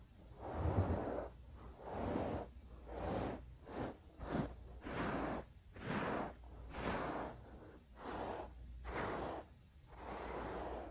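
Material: Nothing is struck.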